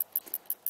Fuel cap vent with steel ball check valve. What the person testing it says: that's actually a ball bearing moving around that pretty much means that it's not stuck